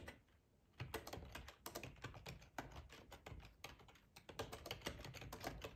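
A black plastic ergonomic split keyboard, full size, rests on a cloth tablecloth while the fingertips of both hands type on its keys. After a brief quiet start, a quick, uneven run of soft clacks follows, with short pauses between bursts. Each keystroke gives a dull low thump with a bright click on top and dies away almost at once.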